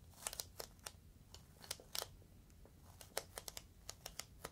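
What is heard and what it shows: Fingertips squeeze and crinkle the top edge of a clear, inflated plastic air-column cushion bag. The result is a quiet run of sharp, bright crackles and snaps, each dying away almost instantly, scattered across a faint low rumble.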